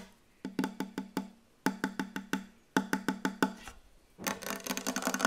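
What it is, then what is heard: Wooden table. Fast tapping on a wooden table: three quick bursts of five hollow, woody knocks, each with a low resonant tone and a short decay. The clip ends with a denser, brighter flurry of rapid tapping that builds in loudness.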